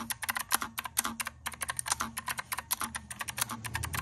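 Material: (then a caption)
Plastic. A pink and white plastic keyboard with round typewriter-style keycaps sits on a desk and is typed on rapidly with the fingertips of both hands. About 29 quick, sharp clicks ring out with bright tops over a faint, steady low hum, each one dying away almost at once.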